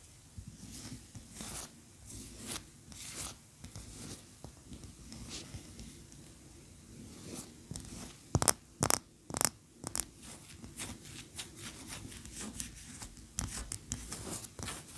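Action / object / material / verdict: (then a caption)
scrape / wax pillar candle scratched with fingernails / wax / none. Long nails scratch the sides and top of a large, cream, solid wax pillar candle standing upright. The scratches come as a quiet, irregular run of short, dry, bright strokes. A few sharper, louder strokes stand out near the middle of the clip.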